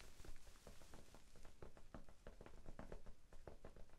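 Fingertips tap a small, soft, solid rectangular pink foam sponge held in both hands in front of the face. The result is a quiet, steady run of soft, muffled, dull thuds with very short decay, mostly low in tone with little brightness.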